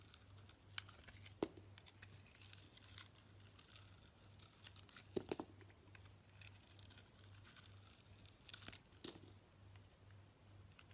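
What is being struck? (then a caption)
Soap bar. A utility knife blade cuts and scrapes slices from a hand-held rectangular solid orange soap bar coated in a green sugary, glitter crust. Soft crackly scraping and tearing textures are broken by sharp, bright crunchy snaps at irregular intervals. A faint steady low hum runs underneath throughout.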